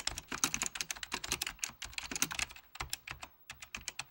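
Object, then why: Plastic computer keyboard. A full-size beige plastic Apple Extended Keyboard II with mechanical key switches is typed on with the fingertips of both hands under red-blue lighting. A rapid, uneven run of crisp, bright clicks with very short decay is heard, with a brief pause near the three-and-a-half second mark before the typing resumes.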